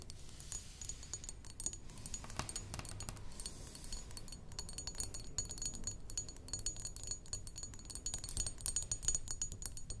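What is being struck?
Glass perfume bottle.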